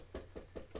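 Cling film stretched very tightly over a metal mixing bowl, almost as tight as a drum, is tapped four times. Each tap gives a short, dull, soft thud that dies away quickly. The film visibly moves under each tap but produces no real pitch.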